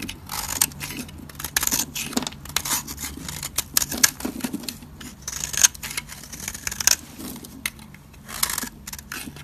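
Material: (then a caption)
Soap. A solid, dry purple soap bar held in the fingers is scraped and shaved with a metal utility blade, sending crumbly flakes falling. Quick, dry, bright scraping strokes come in bursts over a faint steady low hum, each crisp shave ending almost at once.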